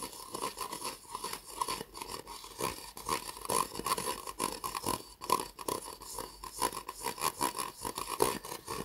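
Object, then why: Disposable plastic cup. An empty white disposable plastic cup, hollow and held upside down in the hands, is tapped and scratched along its sides with fingernails. Rapid, dry clicks and scratchy rustling form a continuous stream. A hollow ring sits around 1 kHz with bright edges and almost no low end.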